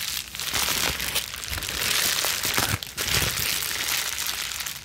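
A small ball of plastic bubble wrap is squeezed and released in the hands and scrunched with long nails. It makes a fast, dense, bright crinkling and crackling with sharp little snaps. The sound stays steady throughout, with a brief dip just before the 3-second mark.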